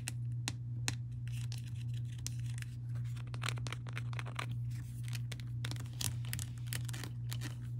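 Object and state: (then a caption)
Plastic honey bear bottle. Long painted nails tap and scratch on the body and yellow plastic cap of a small, clear, bear-shaped plastic squeeze bottle that looks mostly full of honey. Quick, crisp clicks and scratchy, crinkly strokes come in an uneven rhythm over a steady low hum.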